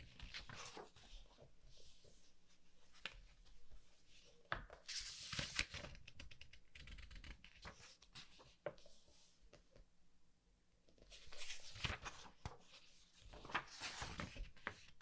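Fingertips rub across the matte, uncoated black-and-white pages of a thick softcover Sailor Moon book and turn them, making soft, dry rustles and brushing strokes. Brighter, papery swishes rise with each page turn, separated by quieter stretches of gentle rubbing.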